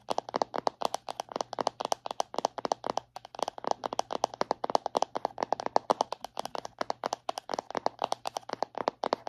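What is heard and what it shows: A round, palm-sized plastic body butter tub is held upright and tapped rapidly on its lid and rim with long painted nails. The result is a steady stream of short, dry, clicky taps with a hollow mid-range tone and no ring after each hit.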